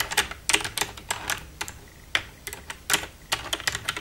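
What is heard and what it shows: Long red-painted nails tap and type with both hands across the keys of a black plastic desktop computer keyboard with a hollow casing. About 18 quick, bright plastic clicks and clacks come in uneven bursts, each dying away almost at once with very little low end.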